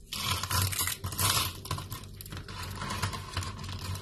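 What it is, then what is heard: Dry, brittle soap shavings. Fingertips grab, crumble and break thin, brittle strips and flakes of dry yellow soap shavings on a wooden board. The sound is dense, bright crackling and crunching with a low, soft thudding underneath, running continuously with no clean pauses for about four seconds.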